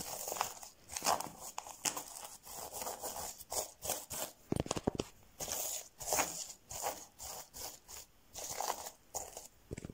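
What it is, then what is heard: Plastic sequin fabric. Fingertips rub, scratch and flip rainbow and silver plastic sequin fabric on a soft padded object. Short, bright bursts of crinkly scratching and clicking sequin flips come in quick uneven rhythm, with brief quiet gaps between strokes.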